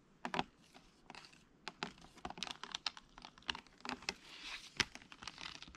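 Fingertips and short nails tap and handle a hand-sized, rigid, hollow, clear plastic blister pack holding small items. It gives quick, bright, clicky taps with a light crinkle between them, each click dying away almost at once.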